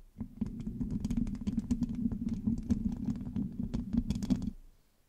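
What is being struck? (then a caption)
Metal mesh microphone grille. Long nails scratch and rub the rounded, hollow metal mesh grille of a black microphone with both hands. The result is a dense, low, boomy rasp centered around 230 Hz, with many quick bright ticks over it. It runs for about four and a half seconds, then stops abruptly.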